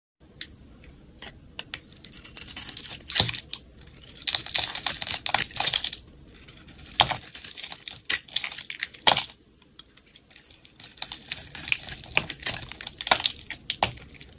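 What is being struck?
Bar of soap carved with a knife blade.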